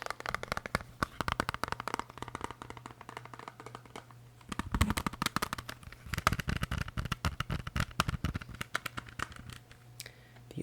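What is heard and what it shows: A plastic CD case holding an album by The Killers is tapped rapidly with soft, short, dry clicks and taps in quick irregular bursts. A faint low hum sits underneath throughout.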